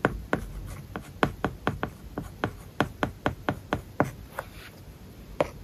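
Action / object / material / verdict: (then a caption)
scrape / stylus on a tablet screen with matte plastic film / plastic film / none. A stylus held in the fingertips writes words on an iPad covered with a matte, paper-like plastic film. Rapid, short scratchy strokes and light taps follow one another, each dry and quickly damped, with a soft low thud under a brighter papery scrape.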